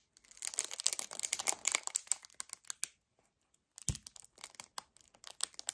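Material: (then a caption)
Paperboard. A hollow 1 L white paperboard kefir carton is gripped hard, squeezed and tapped with fingernails, producing a dense run of bright, dry crinkles and crackles. After a brief pause, a soft low thump is followed by sparser sharp ticks and crinkles.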